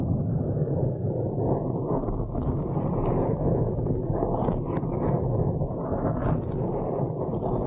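Long nails slowly scratch a blue foam windscreen on a microphone, producing a steady, dense low rumble with a soft brushing texture. The sound stays at an even level throughout, with most energy in the deep lows and almost nothing bright above it.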